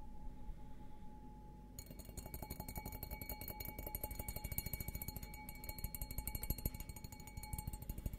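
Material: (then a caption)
Glass. An empty, hollow, stemmed glass beer goblet is held upside down while fingernails tap rapidly on its bowl. After a quiet, low rumbling start, a quick, steady stream of light clicking taps begins over a low thump. Each tap is short, yet the glass keeps a faint, sustained ring with a clear mid tone and bright high overtones.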